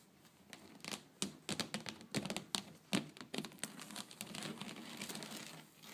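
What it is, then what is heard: Woven wicker tray. Long blue nails, using both hands, tap and scratch along the weave of a flat woven wicker (rattan) tray. Quick, dry, crinkly clicks sound over a steady bright scratching rustle, each tap stopping at once with no ring.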